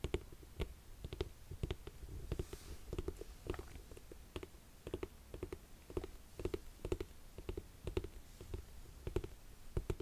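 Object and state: Suede leather boot.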